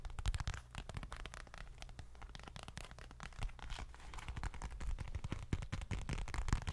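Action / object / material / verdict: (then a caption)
tap / small leather bifold wallet / leather / none. A small dark leather bifold wallet, held in both hands, is tapped and scratched with long fingernails. A dense, steady stream of quick taps and scratchy strokes comes through, mostly deep and thumpy, with sharp clicks and brief bright scratching on top.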